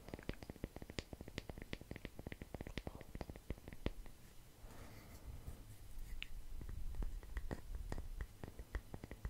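A palm-sized round wooden log slice coaster, solid natural wood with visible growth rings and a bark edge, is held in one hand and tapped and scratched close up with the fingertips and nails of the other. Quick, dry, dull taps come in a rapid, uneven patter, each fading almost instantly. Midway, a softer stretch of rubbing scratches takes over before the tapping resumes.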